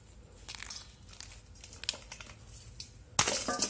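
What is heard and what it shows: Palm-sized chunks of solid pink dyed gym chalk are crushed and snapped between bare fingers above a steel bowl full of pink chalk pieces. Soft, bright crackling crunches come in irregular bursts, ending in a louder, sharp snap with a gritty crumbling tail.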